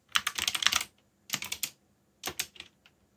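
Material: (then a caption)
Plastic. Fingertips type slowly on a backlit mechanical keyboard with plastic keycaps, producing three bursts of quick, bright, dry clicks separated by short pauses. The clacks are crisp and high-pitched with almost no low end and die away instantly.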